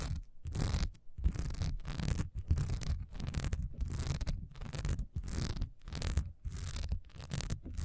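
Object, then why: Textured wax pillar candle. A solid cream wax pillar candle with a honeycomb, diamond-patterned texture stands upright and is scratched fast with long nails. Quick bursts of dry, rasping scratching come in rapid strokes separated by brief pauses, with a dense low rumble underneath and a bright hiss on top.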